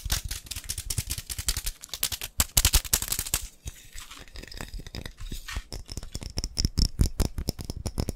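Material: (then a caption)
Glass. A glass coffee jar is tapped rapidly, producing a dense, uneven stream of short, dry taps. Each tap has a low thump with bright, clicky highs and almost no ring.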